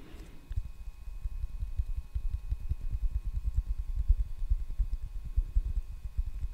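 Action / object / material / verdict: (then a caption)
tap / wooden hairbrush back / wood / none. A solid brown wooden hairbrush, held in both hands, is tapped and scratched on its back with fingertips and nails. The result is a steady run of quick, soft, dull knocks with a deep low thump and almost no ring, over faint scratching.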